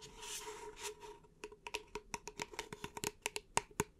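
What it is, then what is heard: Empty paper cup. Long nails tap rapidly on the side of an empty, upright, hollow beige paper cup held in both hands. Soft scratchy rustling swells first, then about sixteen quick, sharp, bright clicks follow, each with a short hollow ring.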